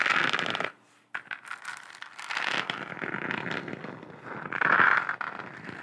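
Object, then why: Textured plastic globe lamp. Long acrylic nails scratch and tap across a lit, hollow, textured plastic globe lamp with a galaxy print. The result is dense, crackly scraping with light tapping and a hollow, bright tone centered near 1.3 kHz. A brief near-silent pause comes about one second in, and the scratching swells louder toward the end.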